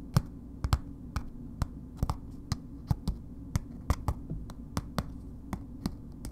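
A solid bar of soap in a red paper wrapper is turned in the hands and tapped on its ends and faces with long nails. Nineteen short, dry taps land at an unhurried, uneven pace, each a crisp click with a bright edge that dies away almost at once. A steady low hum sits underneath throughout.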